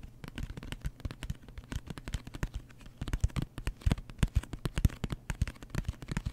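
Fingertips tap fast on the surface of a closed, hollow cardboard mailer box with a wood-grain print. The result is a rapid, uneven run of dozens of short, dull thumps that are mostly low in tone and die away almost instantly. The taps grow somewhat louder in the second half.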